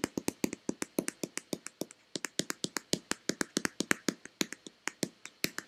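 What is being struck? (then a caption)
Plastic lotion bottle. Long red-painted nails rapidly tap the front and back of a hand-sized, hollow white plastic Nivea lotion bottle. Each tap is a short, dry click with a hollow body near 285 Hz and a bright edge, dying away almost at once. About 39 taps run in quick, uneven bursts, with a brief pause near the two-second mark.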